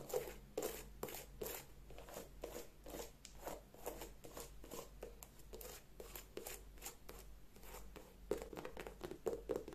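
An empty white leather sneaker held in the hand is scratched and tapped with long nails along its upper and the edge of its rubber sole. The result is a quiet, steady stream of short, dry taps and scratches with a bright crackle and a low hum underneath, growing slightly busier near the end.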